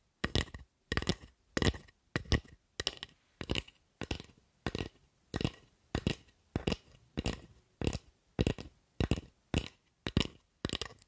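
Long nails tap and scratch a solid carved wooden spatula with visible wood grain, making a steady series of short, dry bursts roughly every two-thirds of a second. Each burst combines a low knock with a bright, crackly scratch that dies away almost at once, with quiet gaps in between.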